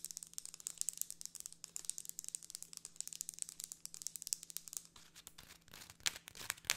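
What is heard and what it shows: Long nails rapidly scratch and tap the ribs and folded leaf edge of a closed folding hand fan with a pink plastic frame and printed paper leaf, held in one hand. The result is a dense stream of bright, dry crinkling and clicking with almost no low end over a faint steady low hum. It eases briefly near the five-second mark before a few sharper, louder taps near the end.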